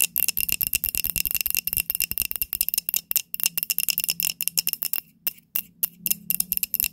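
A small glass candle holder with pink wax is held and tapped with long nails, then set back on the table. Rapid, dense clicks come with a bright, glassy ring pitched around 2.7 kHz and a faint low hum underneath. Each tap dies out almost at once, and the tapping pauses briefly near the end before resuming.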